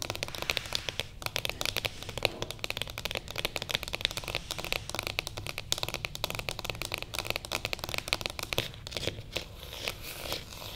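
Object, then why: Cardboard box. Long fingernails on both hands tap rapidly across the top of a closed, light-coloured cardboard box with printing, lying on a table. A continuous stream of crisp, dry clicks and light crinkly taps is heard, bright and thin with little low end. Each tap dies away almost instantly.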